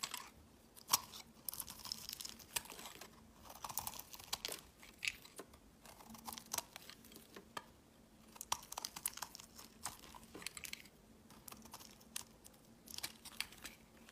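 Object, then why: Bar of soap shaved with a knife blade. A solid white bar of soap is held in the hand and shaved with a utility knife blade, giving quiet, bright, crisp scraping and crunching strokes with short ticks and sharp clicks. Flaky chips build up as the shaving continues, with a faint low hum underneath.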